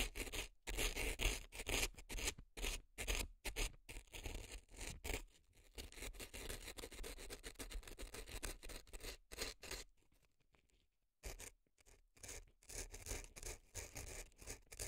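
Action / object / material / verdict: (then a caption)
scrape / dry floral foam packed in a silicone ear, scraped with an earpick / floral foam / none. A gloved hand scrapes an earpick inside the canal of a left silicone elf ear packed with dry floral foam. The result is quick, uneven, crisp scratching and crunching, with bursts broken by short silences and a longer quiet gap just before the end.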